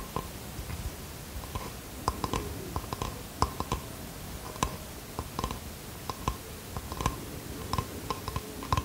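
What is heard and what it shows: Fingernails tap and scratch the wooden face of a small bamboo box held out in both hands. About twenty short, crisp clicks with bright tops and a faint tone near 1 kHz stand out over a soft, low scratching rustle, each click dying away almost at once.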